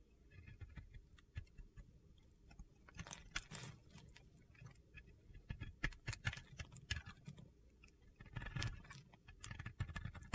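A metal utility blade scrapes flakes from the surface of a solid white Oscar de la Renta bar soap held in the hand. Quiet, dry, crunchy scraping comes in short gritty strokes with bright crackling bursts over a low rumble. The strokes grow denser and louder in the middle and near the end.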